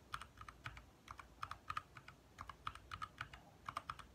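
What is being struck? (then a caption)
Plastic mechanical keyboard. Both hands type quickly with their fingertips on a compact 60% backlit mechanical keyboard with lit plastic keycaps. It produces a rapid, uneven run of crisp, clacky key taps centered around 1.2 kHz with a bright edge. Each tap dies away almost instantly over a faint low rumble.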